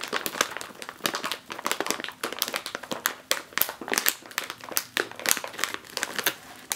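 Fingertips with long nails press and scratch the plastic surface of a full, sealed, foil-lined 5 oz plastic chip bag. The result is a dense, bright crinkling with rapid sharp crackles and quick decays, carrying almost no low end.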